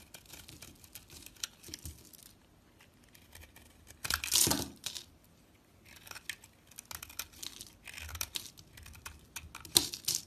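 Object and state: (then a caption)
Bar soap being cut. A box-cutter blade slices and scrapes pieces off a solid cream-coloured bar of soap held in a hand with long nails. Bright, crisp crackling scrapes come in short bursts separated by quiet pauses. The loudest, fullest cut lands just past the four-second mark, with a sharp final scrape near the end.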